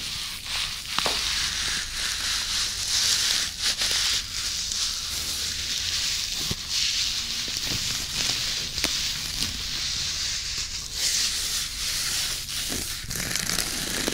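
Long natural nails and fingertips scratch and rub the textured surface of a round, flat loofah bath pad made of natural plant fibre, held in one hand beside a binaural microphone. A steady, bright, crackly rustle fills the clip, dotted with sharper scratchy clicks, with very little low end.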